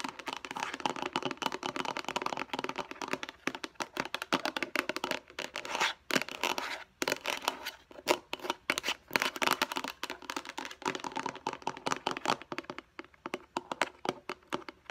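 Long painted nails tap quickly on the flat face of a light blue, rectangular, hollow plastic food storage container or lid about a hand-span in size. The result is a dense stream of crisp, bright, dry clicks with almost no low end. The bursts pause briefly a few times, most clearly around six and seven seconds.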